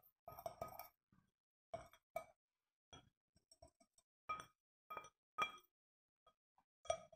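A white plastic scoop scrapes and clinks against the inner wall of a small, round, clear glass fishbowl-style terrarium vase, held in one hand, hollow and nearly empty with a few traces of soil. Bursts of scraping alternate with bright glassy clinks that ring briefly around a mid-range tone with higher overtones, separated by quiet gaps.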